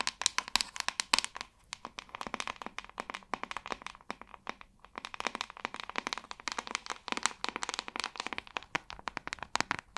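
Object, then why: Plastic paddle hairbrush back. Long nails tap rapidly with both hands on the glossy back of a large white hollow plastic paddle hairbrush. The result is a dense stream of sharp, bright, clicky taps with a hollow tone near 970 Hz and almost no low end. The taps thin out briefly around the middle before the pattern resumes.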